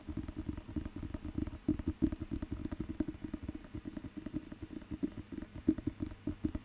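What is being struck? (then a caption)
Thick paper dictionary with a glossy cover. Fingertips tap and scratch the glossy cover of a thick, solid paper dictionary book held in the hand. The result is a dense run of quick, dull, muffled taps and soft scratching, low in tone with a slight mid-range knock and no brightness. Each touch dies away almost at once.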